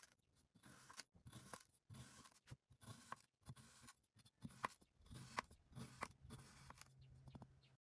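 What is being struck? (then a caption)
Molded kinetic sand blocks. A pink-bladed knife repeatedly slices down through a stacked row of small, solid, molded kinetic sand blocks in grey, purple, pink and green on a white surface. Each cut makes a soft, gritty crunch and scrape, separated by brief pauses, with a few sharper taps. The sand crumbles with each slice.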